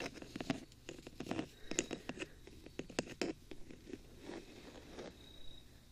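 Fingertips tap repeatedly on the top of the hollow, rectangular black metal body of a 3Dio binaural microphone with silicone ears on each side, with the thumbs ending on its front. Quick, dry taps with short scratchy scrapes between them give a light, uneven clatter that dies away almost at once.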